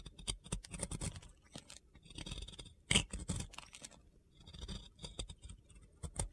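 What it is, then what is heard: Soap carved with a blade. A metal box cutter blade scrapes and carves powdery white soap off a solid, round, pink-glitter-coated soap. The close-up is full of dry, gritty scraping strokes and crisp crunchy cuts, with one sharper crack near the three-second mark.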